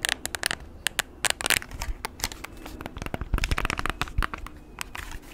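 Short nails tap and click the keys of a handheld plastic graphing calculator, about hand length with a blue rim, a screen and a keypad, and scratch its plastic casing close to the mic. Quick, dry clicks and bright ticks come in irregular bursts over a soft crinkly scratching bed, each tap dying away almost instantly.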